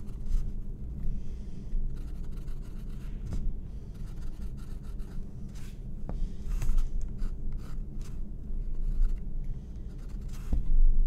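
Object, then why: Stretched cotton canvas with graphite pencil. A graphite pencil sketches lines on a white stretched cotton canvas board resting on a wooden table. Soft, continuous scratching and rubbing strokes run under a low steady hum, with brief sharp ticks and brighter scraping bursts scattered throughout.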